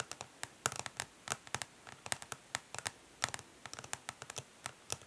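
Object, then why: Plastic makeup palette case. Long nails tap and lightly scratch the smoky clear, ridged plastic back of a makeup palette case lying on cloth. About 26 quick, gentle, bright clicks sound in an uneven rhythm, each dying away almost instantly, with faint scratchy rasps between them.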